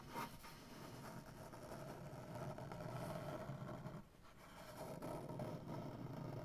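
One hand with short-to-medium black-painted nails taps and scratches the surface of a large, solid, light-wood maple butcher block tabletop. It makes a dense, steady stream of scratchy, woody rasping with soft taps mixed in, heaviest in the low range around 137 Hz. The sound dips briefly near the four-second mark before picking back up.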